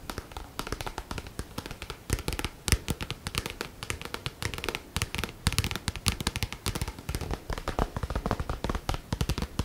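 Long nails scratch and tap the back cover of a medium-sized black paperback book with a matte card cover, held in both hands. Rapid, dry taps and soft scratching run throughout, each tap a short, muffled thump with a bright papery edge and almost no ring.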